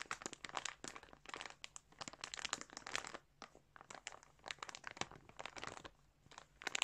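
Fingertips scratch and rub the surface of a large clear plastic bag full of colourful yarn, crinkling the plastic. The clip is a quiet, bright run of dense crinkles and crunches in short clustered bursts, with brief pauses before the rubbing resumes.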